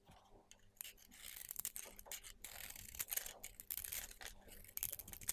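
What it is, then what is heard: Soap bar being scraped with a blade. A utility knife blade shaves and scrapes the surface of a palm-sized, solid lavender soap bar with copper glitter, held in fingers with long red nails, raising curls and flakes. The sound is a quiet run of crisp, bright scraping strokes that come in irregular bursts, each dying away almost instantly with little low-end weight.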